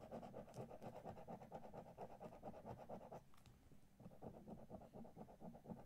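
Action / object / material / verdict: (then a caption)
scrape / paper scratch card scraped with a coin edge / paper / none. A coin held edge-on scratches the coating off a thin Monopoly-themed paper lottery scratch card lying flat on a dark spiral notebook, in short strokes that leave visible shavings. A steady, rhythmic, dry rasping repeats at a brisk pace, with a low-mid scraping tone. It pauses briefly around the middle and then resumes.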